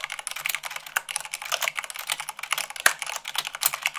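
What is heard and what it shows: Rapid typing at about 98 words per minute on a white plastic mechanical keyboard, struck with fingertips and long nails. It makes a dense, steady stream of bright, sharp clicks that stop short, with a few heavier, deeper keystrokes standing out.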